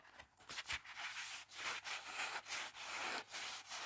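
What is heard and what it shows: Fingertips and nails rub across and turn the paper pages of an open Heartstopper paperback graphic novel. The clip is a run of soft, dry swishing and scratching strokes with a bright, airy hiss and almost no low end. The strokes rise and fall in short overlapping swells with brief dips between them.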